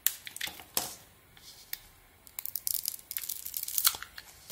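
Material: Soap.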